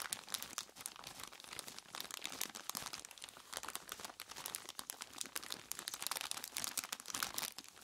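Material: Plastic, ice.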